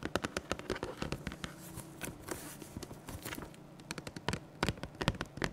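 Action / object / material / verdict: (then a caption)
tap / large cardboard box / cardboard / none. A large, closed, apparently full printed cardboard box (Pokemon 151 Ultra Premium Collection), held upright in both hands, is tapped with the fingertips and nails. Quick, irregular bursts of dry taps mix low, hollow thumps with bright, crisp nail clicks, each stopping almost at once with no ring.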